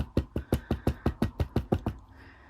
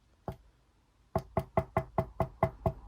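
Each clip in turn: First: Eleven quick, dull taps with no ring at all: a plastic belt side plate, not metal. Second: Eight quick knocks on a belt plate, with a clear mid-pitched metallic tone that dies out almost at once.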